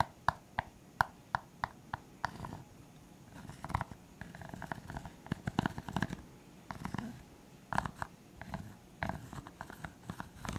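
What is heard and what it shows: A clear, hollow, empty disposable plastic cup is held sideways and tapped on its side with the fingertips. The result is a quiet series of short, dry, hollow taps with a tone near 960 Hz that die away almost instantly. Evenly spaced taps at the start give way to quicker, irregular clusters over a soft, low rustling background.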